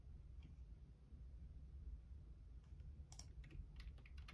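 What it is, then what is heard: Plastic computer keyboard. Fingertips type on the left-side keys of a black plastic Logitech keyboard. Soft, bright key clicks sit over a steady low rumble, sparse at first and then quicker and denser toward the end. Each click is short and dry, and the overall level stays quiet.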